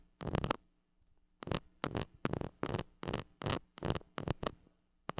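A flat white plastic stick rubs and scratches the hollow metal mesh grille of a gold mini microphone. It makes a series of short, dry, rasping bursts with a strong low rumble and a bright, gritty hiss, separated by brief quiet gaps.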